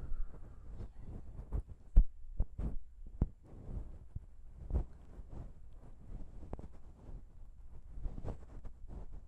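Long pink nails tap and scratch the small chrome metal microphone capsules of a Zoom H6 recorder. Soft, low, muffled thumps and faint scratching are heard over a steady low hum, with several sharper taps standing out.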